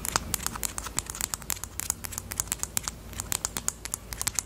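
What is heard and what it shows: Long nails tap rapidly on the plastic body of a pastel pink highlighter with a black cap. They make a quick, uneven run of sharp, bright clicks that stop dead, with a faint low rumble underneath.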